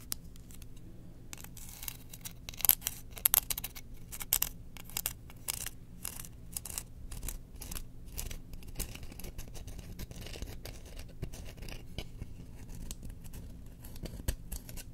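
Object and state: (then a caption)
Bamboo spoon. Long nails scratch along the handle and bowl of a solid, engraved bamboo spoon with a hole in the bowl, held up in the air. Quiet, dry scratching comes in quick bright ticks and rasps, with a few sharper clicks early on, over a steady low hum.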